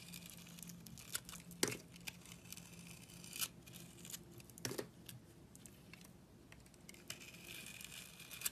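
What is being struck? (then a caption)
Coated bar of soap cut with a utility blade. A snap-off utility blade slices the textured red outer coating off a solid oval bar of soap with a dark brown core, held in the hand. Quiet, bright scraping and crinkly tearing sounds run throughout, broken by a few sharper cracks as pieces of the coating come away.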